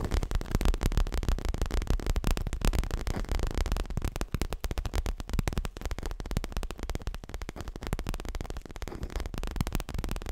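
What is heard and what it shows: Fingertips and long nails rapidly tap and scratch the surface of a medium, square, dark grey leather throw pillow, soft and stuffed, held upright in front of the mic. The result is a dense, continuous stream of dull, muffled thumps with very short decay, weighted heavily toward the low end, with faint scratchy texture on top.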